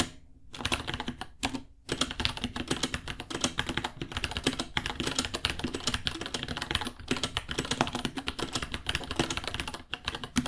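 Both hands type with the fingertips on a small white 66-key mechanical keyboard with Gateron Brown switches, white plastic keycaps, a hollow case and pink underglow, resting on a white desk. Fast, steady streams of crisp, bright, clacky key taps run throughout, each with a short hollow knock beneath and almost no ring. The typing breaks off briefly near the start, around the two-second mark, and near the end.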